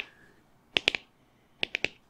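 An ornamental gourd, bought last year and almost completely dried out and hollow from being kept in a cool, dry place, is tapped in two quick bursts of three. Each tap is a crisp, bright, snap-like click with almost no low end and no ring, with quiet pauses around the two groups.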